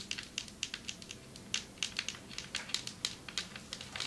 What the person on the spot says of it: Long nails tapping on marble table 6:33 - 10:18